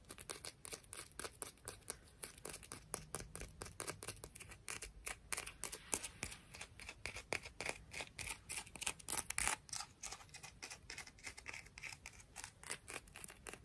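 A rock from the beach is tapped and scratched in quick, uneven succession. Rapid dry clicks mix with short scratchy bursts that are mostly bright and crisp, with little low end. Each sound stops almost at once, and the overall level stays quiet.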